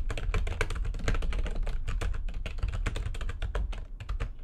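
Fast typing with long nails and fingertips on a full-size plastic computer keyboard with white backlighting and a hollow housing gives a dense stream of bright, short clicks and clacks over a heavy low thump. The keystrokes run steadily throughout and thin out slightly near the end.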